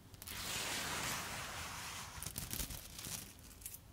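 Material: Dry pasta.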